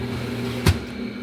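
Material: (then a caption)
Bread dough. A single dull knock on homemade dinner rolls fresh from the oven, with a low thud around 90 Hz that dies away almost at once over a steady background hum. The rolls do not sound hollow, so they are underbaked and go back in for about eight more minutes.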